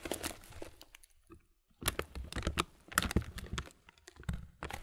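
A clear plastic muesli bag full of granola has its empty top film rubbed and crinkled between the fingertips. Dense, broadband crackles and crunches come in bursts, with a brief quiet pause near the middle. The crinkles are sharp and dry, with a soft low rustle underneath.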